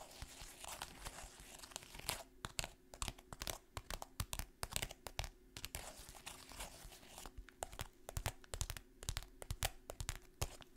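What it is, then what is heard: Kraft paper bag. A printed brown kraft paper pouch holding dry contents is crinkled and tapped with long fingernails. Dense papery crinkling mixes with rapid, sharp, dry taps that stop short with almost no ring, over a faint steady low hum.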